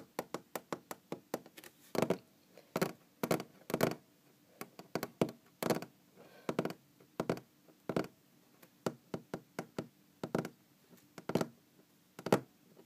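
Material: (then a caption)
Wood. A wooden object is tapped and knocked in a dense, uneven run of short, dry strikes. The sound is mostly mid-pitched and woody, with almost no ring. Softer taps are mixed with heavier, louder knocks throughout.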